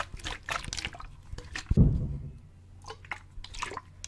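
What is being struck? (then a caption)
Plastic bottle with water. A hollow clear plastic sports bottle with a gray cap, partly filled with water, is held up and tilted back and forth so the water sloshes inside. Soft drippy gurgles and light splashes come throughout, with one heavier, low-pitched slosh midway that fades over a moment before the quieter trickling resumes.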